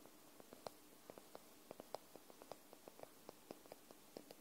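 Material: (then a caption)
Paper. Long nails tap the top edge and spine of a white paperback book held sideways. Quiet, short, dry clicks with a mid-pitched knock come in a slow, uneven patter over a steady soft hiss, each one stopping almost instantly.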